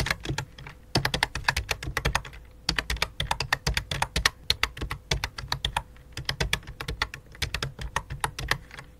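Two hands with long dark nails type rapidly with their fingertips on a full-size white and light-blue plastic computer keyboard resting on black cloth. The bursts of quick, bright, clicky key taps each have a soft low thud, with brief pauses between runs and a faint steady hum underneath.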